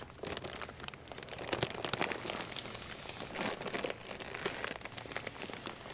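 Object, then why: Plastic-laminated pet food bag. Two hands grip a large, full plastic-laminated bag of Rachael Ray Nutrish Real Chicken & Veggies dry dog food on a store shelf, squeezing and rubbing its surface. A dense, bright crinkling with sharp crackles carries on steadily throughout, with no low rumble.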